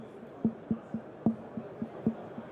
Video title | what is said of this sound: 3SAE PentaPod® Product Line Walkthrough with Scott Jordan | Okay, I'm tapping the steel post. You can hear the resonant response of the assembly.